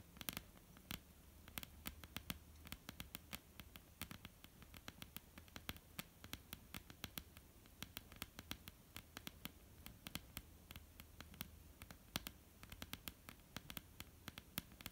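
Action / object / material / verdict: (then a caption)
tap / wooden tabletop / wood / none. Long polished nails on both hands tap and scratch across a flat, solid, dark wooden tabletop. Quick, sharp, bright clicks come in an irregular patter over a soft scratching texture and a faint low hum. Each tap dies away at once with no ring.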